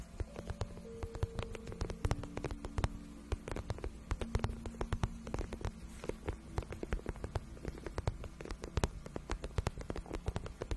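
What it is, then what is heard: Patent vinyl boot scratched with nails. Long nails scratch the shaft of a glossy pink patent vinyl boot, soft and hollow, making a dense run of quick, dry scratches and clicks. The scratches sit over a steady low hum with a few faint held tones, and each click dies away almost instantly.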